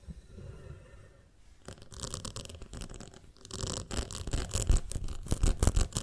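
Long nails tap and scratch the side of a ribbed glass jar full of honey. After a quiet, low rumbling start, bursts of bright, crackly scraping and tapping begin, mixed with low thumps. The scratching grows louder toward the end.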